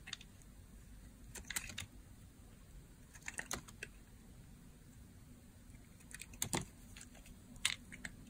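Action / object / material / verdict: scrape / bar soap cut with a blade / soap / none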